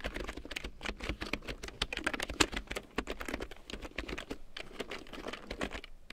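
A full-size large print keyboard with a black plastic frame and big yellow plastic keycaps, lying on faux fur, is typed on with long painted nails and fingertips. A rapid, uneven stream of short, dry plastic clicks and taps follows, with bright clacks and a soft low thud under each keystroke. One sharper, louder tap lands midway through.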